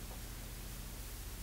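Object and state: Nothing is struck.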